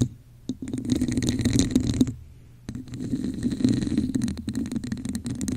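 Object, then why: Textured plastic cup. A hollow red plastic cup with a raised diamond texture sits over a microphone while long nails scratch its top, then both hands scratch its sides. Two bursts of dense, rattling scratches are separated by a short pause near the middle, each with a hollow, low resonance and faint bright grit.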